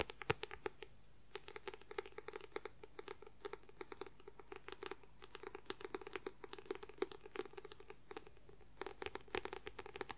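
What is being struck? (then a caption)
Paperback book with paper cover. Fingernails rapidly scratch the white paper cover of a paperback book. The result is a quick, steady stream of short, dry, crackly scratches with a papery mid-range tone around 430 Hz, bright high edges, and no ring after each stroke, over a faint low hum.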